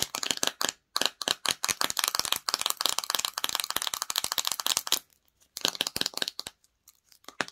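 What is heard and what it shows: Long nails tap and scratch the clear plastic lid top and walls of a small clear plastic jar filled with red slime. Rapid, bright, dry plastic clicks and scrapes come in dense bursts, with short silences near one second and five seconds and sparser taps toward the end.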